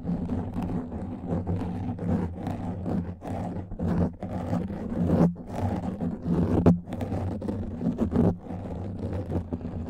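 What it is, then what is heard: Nails scratching a foam microphone windscreen. Long nails scratch a black foam microphone windscreen, producing a continuous, dense, muffled scratching and rustling. The sound is heavy in the low end, with a steady low hum and brief sharper swells as the strokes intensify.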